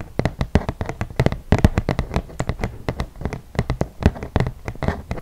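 A flat, solid, yellow printed cardboard game board about 30 cm square is held upright and tapped on its glossy surface with long nails and fingertips. A rapid, uneven run of dry, crisp taps and clicks follows, each with a low, hollow thump and almost no ring.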